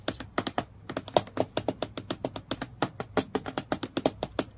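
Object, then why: Acrylic plastic clipboard. Long fingernails quickly tap the flat plastic board of a transparent acrylic clipboard with a metal clip, lying flat on a dark surface. About thirty crisp, dry clicks come in a fast, uneven run, each dying away almost at once.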